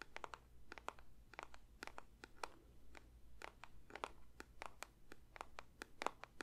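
A paper box is lightly tapped with the fingertips for ASMR, giving an irregular run of soft, dry, crisp taps with bright, papery clicks. Each tap stops almost instantly, over a faint low hum.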